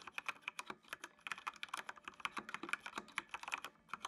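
Fingertips type on a full-size black plastic mechanical computer keyboard with RGB backlight. About two dozen quick, crisp keystrokes come in an uneven rhythm, each a short bright click with almost no ring and no low end.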